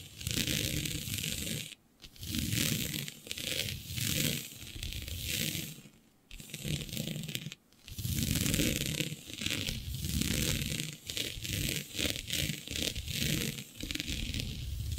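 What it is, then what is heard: Stretch fabric being scratched. Long nails scratch and gather a flat sheet of black synthetic stretch fabric with a shiny dotted pattern. The result is a continuous dense rasping and crinkling that mixes low rumble with bright hiss. It comes in long swelling bursts broken by a few brief quiet gaps.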